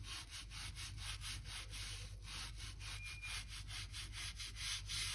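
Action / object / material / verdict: scrape / oak floor planks scraped by a stiff brush / wood / none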